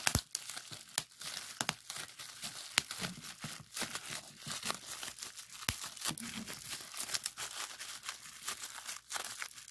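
A clear plastic bubble wrap sheet with hollow bubbles is pressed with fingertips, then twisted and pinched by hand. Bright, crinkling crackles and sharp little pops come in a dense, irregular stream of many quick snaps over a steady hiss of rustling plastic.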